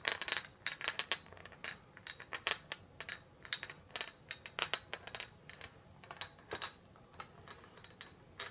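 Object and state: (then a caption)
Ceramic whisky flagon. A round, dark blue ceramic whisky flagon with a gold medallion and gold neck, medium-sized and hollow, is held in the hand and tapped and scratched with a small green tool. It gives a quick, irregular series of bright, dry clinks and scrapes that stop almost instantly, with little low end, over a quiet background.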